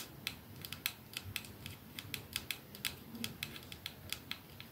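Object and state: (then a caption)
Glass perfume bottle tapped with nails. Fingernails of the holding hand tap rapidly on a 212 capsule glass perfume bottle with a silver band, held in one palm. A quick run of about two dozen short, bright clicks rings out, each decaying almost instantly, over a soft low background hum.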